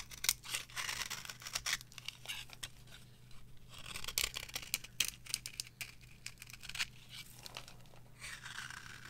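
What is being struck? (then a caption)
Bar of soap carved with a metal knife. A metal knife carves and scrapes a dry, varnished yellow bar of soap held on a palm. Bright, crisp scraping and crackly carving bursts come in uneven strokes, with a faint steady low hum underneath.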